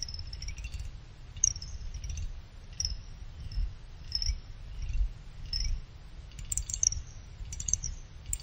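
A small pick scrapes across the top and side fins of a small finned aluminum CPU cooler heatsink resting on a blanket, producing bursts of rapid, bright clicking with high metallic ringing. The clicks die away almost instantly over a steady low rumble.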